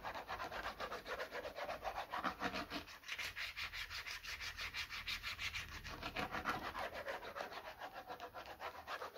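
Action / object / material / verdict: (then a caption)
scrape / plastic bottle / plastic / none. Short fingernails scratch the labelled side of a medium, hollow white plastic bottle. The sound is a steady run of quick, rough, slightly irregular rubbing strokes with a bright, papery texture, and each stroke fades almost at once.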